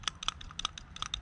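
A working idle control valve from an E36 compact's M43 engine is shaken by hand, giving seven quick, bright, high-pitched rattling clicks with almost no ring. The loose rattle shows the valve is working and not stuck.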